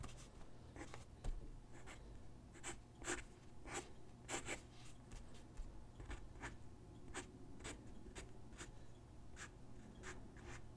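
A graphite pencil sketches on a single white paper sheet lying on a wooden desk, its tip scratching across the paper in short, bright strokes. The quick rasping strokes come in an uneven rhythm over a steady low hum.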